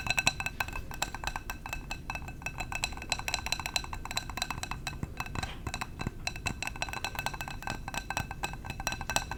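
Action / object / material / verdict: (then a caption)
tap / glass candle jar / glass / none. A glass candle jar is tapped rapidly with the fingertips, making a dense run of light, bright clinks. Each tap has a short glassy ring with a high tone near 2.6 kHz, plus a soft low thud underneath, and the tapping stays fairly even throughout.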